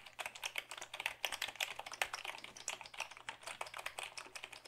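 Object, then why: Plastic computer keyboard. A black Dell keyboard of hollow plastic is held up and typed on with the fingertips. A quick, steady run of light, bright plastic clicks and taps sounds with almost no low end, each dying away almost at once, over a faint low hum.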